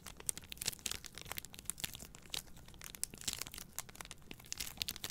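Long nails scratch down a plastic-wrapped pack of three white paper towel rolls held upright. The film gives off a quiet, bright, crinkly, tearing-like sound in a dense run of short, sharp scratches.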